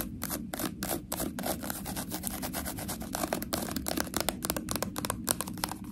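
Long nails scratch and tap along the ridges of a small, ribbed, white plastic sauce cup sealed with a foil lid. The result is a rapid, dense run of short, bright, crackly scratches and clicks over a steady low rumble, growing slightly louder toward the end.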